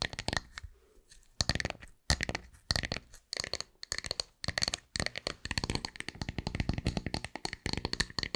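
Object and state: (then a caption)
Wooden tree slice. Long nails scratch and tap a round, solid wooden tree slice with a bark edge, which is held close at the end. Dense, dry bursts of crackly scratching and quick clicking taps sound bright and rough, with a low woody body underneath. Short pauses break up the clusters, and each tap stops dead with no ring.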